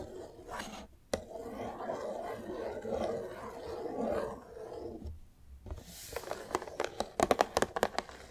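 Long nails scratch and rub along the glossy front and edges of a large, hollow green cardboard display box, making a steady, papery mid-range scraping with one sharp click early on. After a brief quiet pause, the sound turns into a quick run of crisp, bright taps and clicks against the cardboard.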